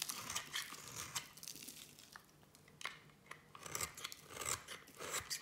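A solid bar of black and white striped soap, held in one hand with long painted nails, is shaved and cut with a small metal blade as shavings fall away. Dry, crisp scraping and crunching bursts come in quick uneven runs, bright and hissy with very little low end. Each cut stops sharply, leaving brief quiet gaps between strokes.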